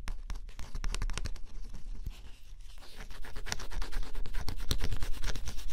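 A stylus scratches the black coating off a flat cardboard scratch-off jigsaw puzzle in quick, uneven, dry scraping strokes. The scratching dips quieter and softer midway, then returns louder and brighter, with rapid raspy strokes through the end.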